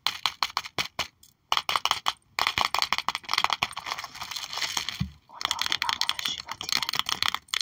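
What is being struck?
Plastic sleeve sticker album page.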